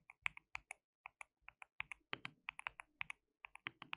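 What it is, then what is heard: Plastic mechanical keyboard. Fingertips of both hands type on a white plastic mechanical keyboard with translucent keycaps. A quick, uneven run of short, dry keystrokes is heard, each a bright plastic click centered around 2 kHz with almost no ring. The clicks come in a steady typing rhythm, broken by a few brief pauses.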